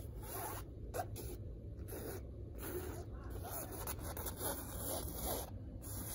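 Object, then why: Woven fabric curtain. Long red nails scratch and rub the textured weave of a large hanging dark blue woven fabric curtain. The result is a run of soft, gritty rasping strokes over a steady low rumble.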